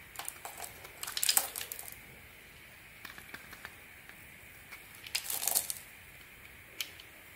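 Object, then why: Bar of soap scraped with a small metal blade. A small metal blade scratches and carves flakes from the surface of a solid, hand-sized, turquoise faceted bar of soap held in the palm. Two bursts of bright, crisp scraping and crackling are heard, with sparse light clicks and scratches in the quieter stretches between them.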